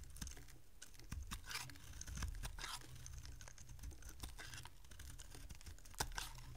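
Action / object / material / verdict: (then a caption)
scrape / bar of soap scraped with a small metal blade / soap / none. A solid, oval, dry green bar of soap is held in the hand and carved and scraped with a small metal blade, sending crumbly flakes falling. Soft, rapid crunchy scrapes and clicks follow one another with bright, brief bursts of scraping over a quiet low rumble.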